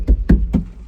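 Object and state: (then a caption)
Sound-deadened vehicle cab wall. Three dull, low thuds from tapping on the metal cab wall of a Toyota Land Cruiser 75 Series ute after sound deadening material has been laid over it. Each tap is deep and short with almost no ring, deadened by the covering.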